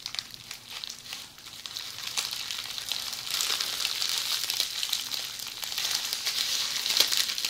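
Tightly rolled red plastic bubble wrap is held in the hands, squeezed and scratched with long polished fingernails. It gives a dense, bright crinkling and crackling made of rapid small ticks, with almost no low end. The sound starts fairly soft and grows louder and busier after the first few seconds.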